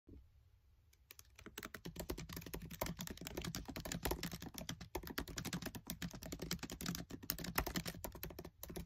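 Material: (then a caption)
Plastic. Fingertips with short nails type fast on a MacBook Air keyboard with black plastic keys set in an aluminium body. After a near-silent first second, a dense, steady stream of quick, dry key clicks with a low thud under each press runs to the end, pausing briefly once near the finish.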